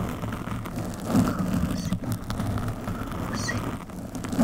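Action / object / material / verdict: scrape / foam microphone windscreen / foam / none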